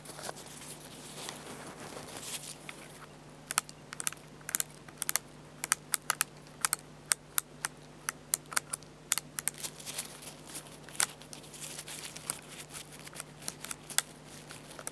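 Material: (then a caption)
Plastic. Fingertips tap and press the top buttons and dial of a black plastic Fujifilm bridge camera with a hollow body, lying on a towel. Sharp, bright clicks and taps ring out in quick, uneven bursts over a soft, steady hum, with faint rustling between them.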